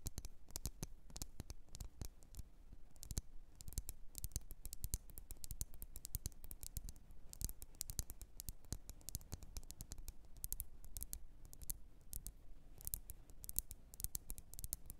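Long nails tap and scratch with both hands on the glass walls of a lit, wax-filled candle in a red glass jar. The result is a quiet, continuous stream of rapid, sharp clicks with bright, brief ticks and light scratching over a low rumble, each tap dying away almost instantly.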